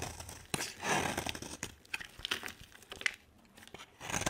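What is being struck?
Bar of soap scraped with a knife blade.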